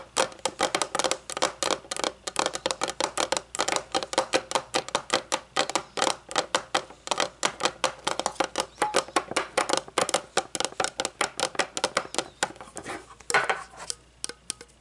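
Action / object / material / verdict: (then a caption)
tap / thin metal jar lid tapped with fingernails / metal / none. Long nails rapidly tap and scratch the surface and edge of a round, shiny, hollow metal candle jar lid, first resting upside down on a wooden table and then lifted. Dozens of quick, crisp clicks ring briefly with a light metallic tone near 520 Hz and bright scratchy edges, continuing steadily before thinning out at the end.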